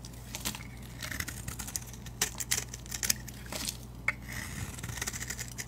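A metal utility knife blade shaves a solid rectangular soap bar with a painted orange, leaf-decorated surface and a yellow interior, held by a hand with long dark nails. Crisp, bright scraping strokes and short sharp ticks come one after another over a steady low hum.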